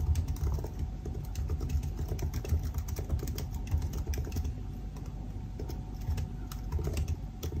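Fingertips type steadily on the black plastic keys of a silver aluminium laptop keyboard, producing a dense stream of soft key taps. The taps are quick and dry with a low, muffled body and faint bright clicks, over a steady faint hum.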